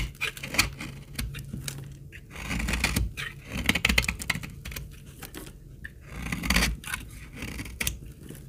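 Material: Soap.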